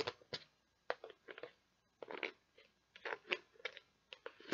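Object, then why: Plastic container of beads. Long nails tap and scratch the lid and label of a clear plastic tub that is partly full of beads. An irregular series of short, bright, dry clicks is heard, mixed with brief scratchy rustles and pauses between clusters. The sound has almost no low end and each tap dies away almost at once.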